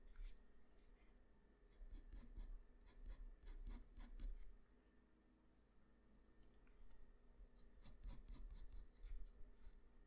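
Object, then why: Graphite pencil on drawing paper. A black Arteza wooden pencil held in the fingers draws on a flat sheet of white drawing paper with its graphite tip. Short, dry scratching strokes come in bursts with a bright, papery hiss, quieting briefly in the middle before another run of strokes. A steady low hum runs underneath throughout.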